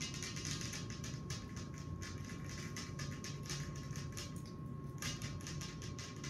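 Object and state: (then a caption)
Glass table top. Long acrylic nails tap rapidly with both hands on a large, flat, solid glass tabletop, with rings worn on the fingers. The result is a steady stream of bright, crisp clicks and ticks over a constant low rumble and a faint steady tone near 1 kHz.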